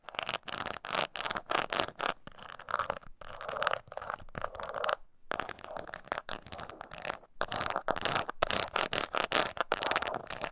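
Long nails scratch the surface of a small, hollow croc-embossed leather mini purse held on its side. The result is a run of quick, dry, raspy scratching strokes with a hollow mid-range body and some brightness, broken by brief pauses. Some stretches are faster and harder, while others are softer and more continuous.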